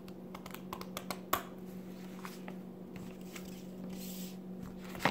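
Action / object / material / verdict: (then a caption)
tap / glossy paper magazine / paper / none. A thin glossy paper magazine held in the hand has its pages flipped and riffled with long red-painted nails and fingertips, above a stack of magazines on the table below. Soft crinkling paper rustles and light nail taps sound over a steady low hum, with brighter, sharper page snaps standing out near the start and at the end.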